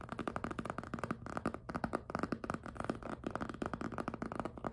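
Fingertips and nails grip and rub the squeaky surface of a small, hollow pink jelly PVC handbag held up in the air. The result is a rapid, steady run of short squeaks and soft taps with a tonal mid-range squeal, little bright content, and very brief ring after each contact.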